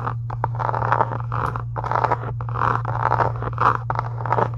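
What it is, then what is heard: Faux leather journal cover. Long acrylic nails scratch and tap across the surface and edge of a closed, pink embossed faux leather journal cover resting on a desk. The result is a run of dry, papery scratching bursts with light taps, centered in the mid range, over a steady low hum.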